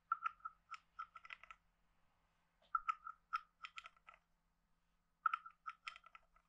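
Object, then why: Carved wooden frog guiro played with a wooden stick. A hand-sized hollow carved wooden frog guiro with a ridged back is scraped and tapped with a wooden stick. Three bursts of quick, dry wooden clicks and short ratchety scrapes are heard, each with a hollow, woody tone around 1.3 kHz and brief bright edges. Each click stops almost instantly, with quiet pauses between the bursts.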